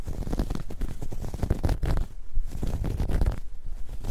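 Long nails scratch and grip the surface of a dark grey ribbed knit fabric bag, soft and hollow and held up in both hands. The result is a steady stream of deep, muffled scratching and rustling, heavy in the low end with almost no brightness, swelling and easing over the few seconds.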